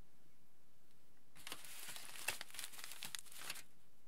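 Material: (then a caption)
Aluminium foil. A large crumpled aluminium foil sheet lies flat while fingertips rub and scratch across its surface. After about a second of near silence, a dense, bright crinkling and scratching begins, with sharp crackles scattered through it. The sound stays quiet and close, ending in a final crisp rustle.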